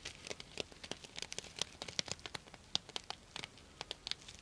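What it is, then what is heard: Sequin fabric pouch. A purple sequin-covered fabric pouch is held upright beside the mic while long nails scratch and rub down its plastic sequins. The result is a quiet run of dry, bright clicks and crinkly ticks with almost no low end and no ringing, each snap dying away at once.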